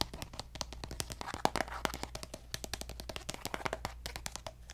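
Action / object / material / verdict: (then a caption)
tap / plastic cosmetic squeeze tube / plastic / none. A hollow pink plastic lotion tube with a gold cap is tapped and scratched with fingernails, including on the cap. It makes a rapid, dense run of dry, clicky taps with a hollow tone centred near 800 Hz, mixed with bright scratching. Each tap dies away almost instantly over a steady low hum.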